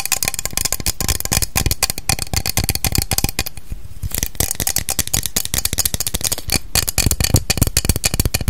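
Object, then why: Aluminium aerosol hair spray can. A cylindrical aluminium aerosol can of Salon Style hair spray, hollow with pressurised contents, is tapped fast along its body with long acrylic nails. The result is a dense, continuous stream of short, dry metallic clicks with almost no ring, with a low hollow thump under them and a brief softer stretch near the middle.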